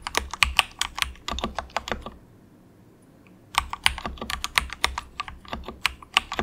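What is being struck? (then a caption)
Plastic mechanical keyboard. Fingertips of both hands softly type on a cheap, compact mechanical keyboard with grey plastic keycaps. It makes quick, bright, clicky keystrokes with very short decay. Typing runs for about two seconds, pauses in near silence for over a second, then resumes at a steady pace.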